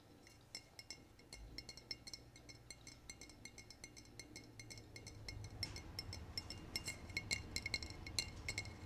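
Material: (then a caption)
Glass. A glass bottle is tapped in a quick, irregular series of light clinks. The short, bright taps ring briefly and get louder and denser toward the end.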